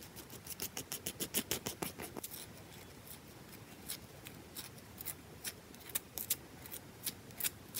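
Long nails rapidly scratch and tap a round, solid bar of soap with a wedge carved out of it. The result is fast, aggressive bursts of crisp, bright clicks and scratchy rasps, dense at first and then more spaced out, with each tap dying away almost instantly.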